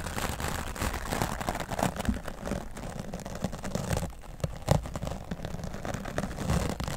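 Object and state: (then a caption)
Foam microphone windscreen being brushed. An oval wooden bristle brush is swept over a grey foam microphone windscreen, first across the top and then along the left side. The result is a steady, muffled, low-heavy scratching and rustling with many small crackles and a few louder swipes.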